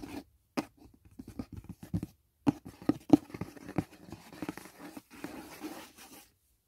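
Fingertips and short nails tap and scratch the lid of a closed, hollow, rectangular white rigid cardboard box from a Dashing Diva nail set lying on grey bedding. Soft, hollow taps with a low-mid knock alternate with dry, papery scratching in an uneven rhythm. Each sound dies away almost instantly.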